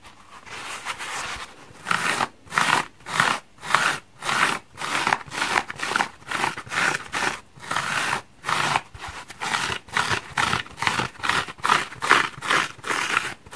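A hand-sized multicolored patchwork foam bath sponge with blue, yellow, pink and green blocks, solid and porous, is held in one hand over a wooden table while medium-length fingernails on the other hand scratch across its surface. A steady series of short, separate dry scratching strokes sounds crisp and crunchy, bright with almost no low end, each stopping quickly with little ring.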